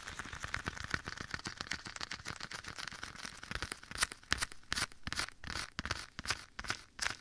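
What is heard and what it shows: Bare fingertips scratch and tap a black leather glove worn on one hand and held against the right side of a microphone. Soft, dense scratching fills the first half, then gives way to louder, sharper taps at an irregular, brisk pace. Each tap is a short, bright, dry tick with little low end.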